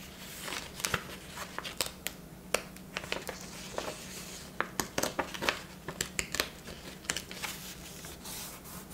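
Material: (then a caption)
Paper. A bound paper ledger book lies open on a table, with a pen lying unused nearby, as both hands press, rub and smooth its paper pages flat and lift the page edges. Soft rubbing runs under a quick series of sharp, bright paper crinkles and snaps, each dying away almost at once.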